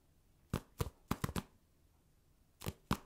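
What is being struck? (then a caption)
Foam mini basketball stress ball. A small, hand-sized orange foam mini basketball stress ball with black seams and a glossy surface, solid and possibly polyurethane foam, is held in one hand and tapped with the fingertips and nails of the other. Seven quiet, dull, short taps land in an uneven pattern: a pair, a quick cluster of three, a long pause, then two more. Each tap is mostly low thud with a brief bright click and almost no ring.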